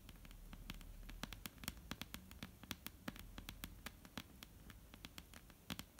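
Long almond-shaped painted nails tap and scratch across a flat, solid dark-brown wooden tabletop. Quiet, crisp, bright clicks come in an irregular stream with brief scratchy rustles between them. A soft low rumble runs underneath throughout.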